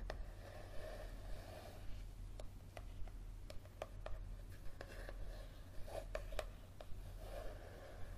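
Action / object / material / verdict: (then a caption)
tap / paperback book with card cover / card / none. Fingernails tap and scratch the card cover of a yellow paperback book held tilted above a table. Sharp, bright clicks stand out at irregular intervals over a low, steady hum, with soft scratching rubs between them.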